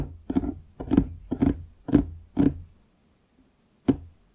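Fingertips tap the wood near the front edge of a large solid wooden desktop, just below the microphone. The dull, hollow knocks have a low-mid tone and die away almost at once, arriving in a steady, unhurried series. A brief pause follows before the tapping resumes at the end.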